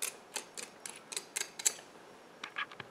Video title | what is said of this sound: Aldi BBQ Smoked Flavor Meatloaf Ninja Speedi Cattleman's Ranch Meat Loaf | listen how crispy it is already